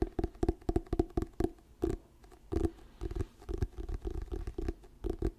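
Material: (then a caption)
Paper. Fingertips tap and scratch the glossy paper cover and spine of an orange "Diary of a Wimpy Kid" paperback book held close to the microphone. A quick, uneven run of soft, dull, hollow taps sits in the low-mid range and dies instantly with no ring. Quieter stretches of faint scratching run between the bursts of tapping.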